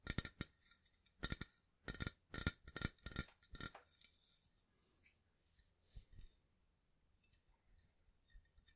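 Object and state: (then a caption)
Empty stainless steel cocktail shaker. A medium, hollow, dark stainless steel cocktail shaker, apparently empty, is held and turned close to the microphone while fingertips and nails tap and scratch it. The first four seconds are a run of sharp, bright metallic taps with a ringing high shimmer. After that come softer scratching and a few isolated light taps.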